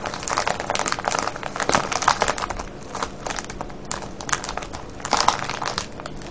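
A medium clear plastic cellophane bag full of foil-wrapped candies, with a red label and ribbon tie, lies on a wooden table as fingertips and nails squeeze and crinkle it. The result is a steady stream of dense, bright crackling crinkles with louder bursts.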